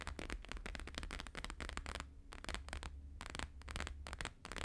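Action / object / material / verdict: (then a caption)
tap / plastic-laminated paper sheet / laminated paper / none. Fast fingertip and nail tapping with both hands on a thin, flexible, flat square sheet of plastic-laminated holographic paper lying on a fur rug. It makes rapid, crackly, bright clicks in dense bursts with brief pauses, over a steady low hum.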